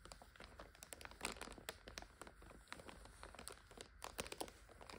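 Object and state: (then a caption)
Plastic noodle multipack being crinkled. Fingers grip and crinkle the plastic film of a full instant-noodle multipack lying on its side while fingernails scratch across it. The result is a dense, quiet run of sharp, bright crackles and crinkles, with a few louder snaps standing out.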